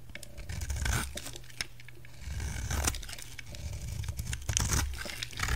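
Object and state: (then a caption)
Bar soap being shaved. A utility knife carves and shaves a solid white rectangular bar of soap, with the flakes piling up beside it. Dry, crisp scraping and tearing strokes rise in bright bursts over a steady low rumble, with brief crunchy snaps as the shavings come away.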